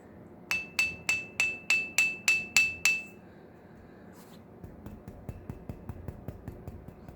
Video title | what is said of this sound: Pathway to the Orion Stone | that little tiny sing? I can get it to make that sound just by tapping on it.